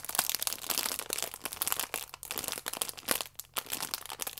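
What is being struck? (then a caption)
Stack of yeast sachets in plastic film. A plastic-wrapped stack of yeast sachets is held flat in both hands while thumbs and long nails press and scratch the plastic film. Dense, bright crinkling and crackling fills the clip in irregular bursts with short pauses, with almost no low end.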